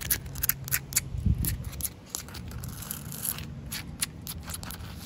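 Short painted nails scratch and tap across the rough surface of a large, solid, slightly damp outdoor concrete slab. Quick bright ticks and dry scrapes stop short with almost no ring, over a steady low rumble underneath.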